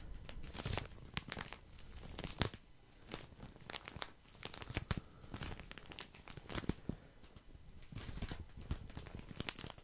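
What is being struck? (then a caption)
Soft plastic package of cotton pads. A full, soft plastic package of cotton pads is held in the hand while fingertips squeeze and scratch it. The plastic crinkles and crackles in dense, irregular bursts, with low-heavy rustling and bright crisp edges throughout.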